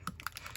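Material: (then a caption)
Plastic. A bottle of Distress Foundry Wax in the color Mind is shaken so the mixing ball inside bounces and rattles, mixing up the wax paint until it is ready. Short, sharp clicks with a bright knock near 1.4 kHz come in quick succession over a faint low background.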